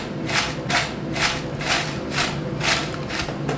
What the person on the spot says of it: Wow. तो सुनी आपने कितने क्रिस्पी चिप्स हमारे बन के तैयार हुए हैं।